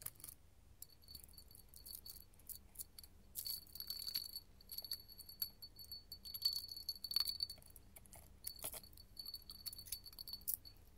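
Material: Glass.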